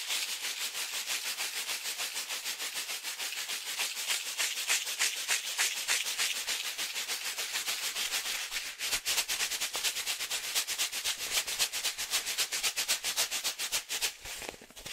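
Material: Foil, plastic.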